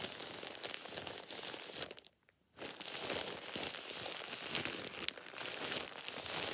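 A thin, light plastic shower cap, hollow and empty, is held in one hand and scrunched and crumpled by the fingers. It makes dense, bright crinkling and crackling with little low end. The sound breaks off into a short near-silence around two seconds in before the crumpling resumes just as busily.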